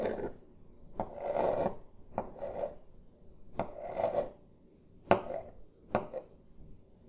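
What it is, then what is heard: Wooden table top. Two smooth wooden sticks, held one in each hand, tap and slowly trace across a flat, solid wooden desk top with a light wood-grain finish, close to the microphone. Each sharp, dry tap leads into a soft, rasping scrape with a hollow mid-range tone and faint bright edges, and the taps and traces repeat unevenly throughout.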